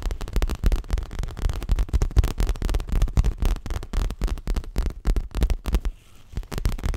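Fingertips and nails tap rapidly and unevenly on the front of a stuffed dark grey leather throw pillow held close. The taps sound deep, dull and thumping, with almost no ring, and pause briefly just before the end.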